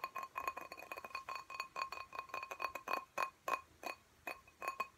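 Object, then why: Glass plant pot filled with soil. Fingernails tap rapidly on a glass cactus pot filled with soil and held in both hands. The result is a fast, uneven run of short, bright clinks, each with a clear ringing tone near 1 kHz and a higher overtone, dying away almost instantly. The tapping comes in quick bursts with brief pauses toward the end.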